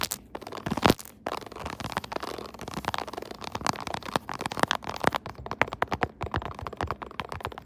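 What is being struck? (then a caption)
Silicone phone case with raised keys. A smartphone in a soft pink silicone case molded with raised keyboard keys sits on a tripod holder while long nails tap and scratch the keys. The result is a dense run of quick, crisp clicks and soft scraping crackles with brief louder taps standing out.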